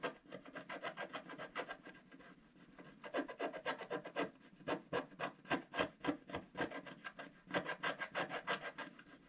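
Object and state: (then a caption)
Wax-coated scratch art paper being scratched. A wooden stylus scratches rapid hatching strokes across a flat black sheet of wax-coated scratch art paper. Short, dry, raspy strokes repeat in a quick, somewhat uneven rhythm, about three to four per second. They ease off to softer strokes around two to three seconds in, then return louder.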